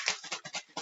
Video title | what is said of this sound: STEM Video: Homemade Butter | I can hear all that liquid now